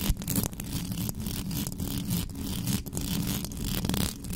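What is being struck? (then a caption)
Metal mesh microphone grille. Long pink nails scratch fast across the sides and top of the hollow metal mesh grille of a black condenser microphone. The result is a dense, continuous rasping scrape with a heavy low rumble and bright hissy bursts that rise and fall without a break.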